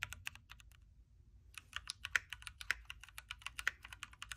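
Both hands type with their fingertips on a backlit, hot-swappable Keychron Q3 Knob mechanical keyboard with red switches, a metal case and plastic keycaps, resting on a desk mat. Quick, crisp, bright key clacks come in an uneven stream with a brief pause near the one-second mark. Each tap is sharp and dies almost instantly over a faint low hum.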